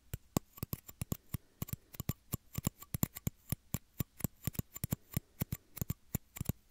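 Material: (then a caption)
Plastic. Small, empty, clear hollow plastic shot glasses held against both ears of a 3Dio microphone are tapped and scratched with fingertips and nails. About 35 dry, quick taps sound in an uneven rhythm, each pairing a dull low thump with a bright click and almost no ring.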